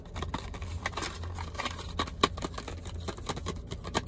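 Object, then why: Toothbrush package, clear plastic blister on cardboard backing. A long, narrow toothbrush package, a clear hollow plastic blister on a cardboard backing, is tapped and scratched with fingertips and nails. Quick, dry plastic clicks and scratchy rustling repeat throughout over a steady low hum, with one sharper tap standing out near the middle.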